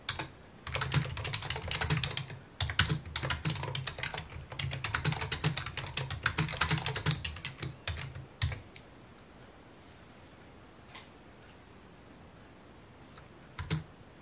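Fingertips type on a full-size white/mint plastic computer keyboard with a hollow housing, resting on a wooden desk. Rapid, uneven key taps and clicks run for about the first eight and a half seconds, each with a low hollow thump under a bright click. Then the typing stops, leaving near silence broken by a couple of isolated taps.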